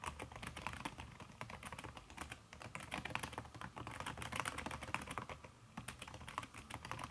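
Fingertips and long red nails type fast on a backlit aluminium laptop keyboard fitted with a red silicone key cover. A dense, steady stream of soft, muffled clicks and taps runs throughout, each one short and dry, with brief lulls near the middle and toward the end.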